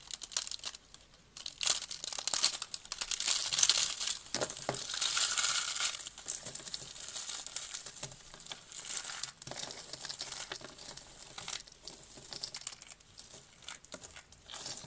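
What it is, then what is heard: Dry soap being crushed. A hand-sized, carved pink dry soap rose, solid with thin layered petals, is held in the palm and crushed between the thumbs and fingers into brittle flakes, which are then squeezed in the hands. Dense, bright, dry crunching and crackling fills the clip in irregular bursts, loudest around the middle, with almost no low end. It ends in softer, scattered crinkles as the flakes are worked.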